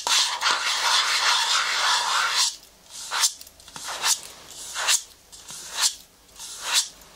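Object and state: Plastic cosmetics jar (scratched).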